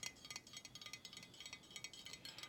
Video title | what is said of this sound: ASMR Thrift Haul 25. Show & Tingle. Soft Spoken, crinkling, tapping | It is a ceramic hand made in China.